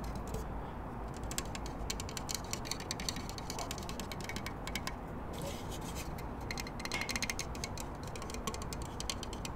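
A short, bright-green plastic spirit level with hollow cutouts and bubble vials is held close to the microphone and tapped and scratched along its frame with fingertips and nails. Dense runs of quick, bright plastic clicks and scratchy ticks come in bursts over a steady low hum.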